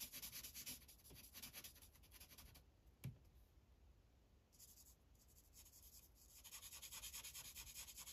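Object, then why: Paper sheet on a plastic clipboard, rubbed with a felt-tip marker. A green Sharpie felt tip is rubbed in coloring strokes across a thin white coloring page resting on a plastic clipboard. Quick, bright, scratchy back-and-forth strokes fill the start and end, with a softer, quieter stretch in the middle broken by a single sharp tap around the three-second mark.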